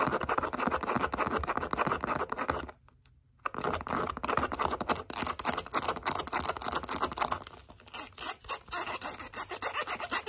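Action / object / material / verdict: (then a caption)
scrape / pebbled leather zip wallet / leather / none. Long acrylic nails scratch fast and hard across the face and along the edge of a light-blue pebbled leather zip wallet, making a dense, dry, bright rasping texture. The scratching stops briefly for under a second, then resumes and thins toward the end into more separate scrapes and taps.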